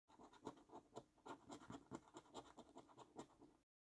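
A coin scratches the coating off the symbols on a thin, flat £15 "5x £300,000 Luxury Lines" National Lottery paper scratch card held down by hand. About fourteen quiet, irregular rasping strokes come in short bursts, each with a mid-range body and bright, scratchy streaks. The strokes stop dead with no ring.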